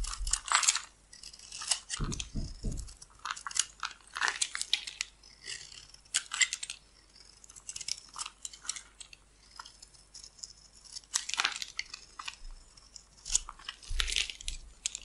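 A metal blade scrapes and carves thin curls off the face of a solid oval pink bar soap held in one hand, with the pink shavings piling up below. Dry, bright scraping strokes come in uneven bursts, with a few short low thumps near the start.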